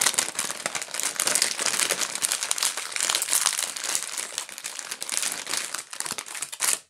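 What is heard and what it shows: A pink plastic gum bag, held in both hands, is crinkled and scratched with fingertips and long nails. The result is a dense, continuous stream of bright, crackly crinkling concentrated in the high frequencies, with almost no low end and brief dips between bursts.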